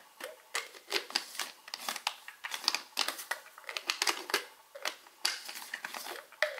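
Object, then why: Small plastic pill bottle with plastic cap. Fingertips and short nails tap and scratch the plastic cap of a small white plastic Alive vitamin bottle. A quick, irregular run of dry, bright clicks and scratchy rasps is heard, each one dying away almost at once with no low end. The overall sound is quiet, crisp and crinkly.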